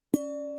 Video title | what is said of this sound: Episode 201: Barrell Seagrass 16yr (130.82 Proof) | hear the low pitched chime when I tick it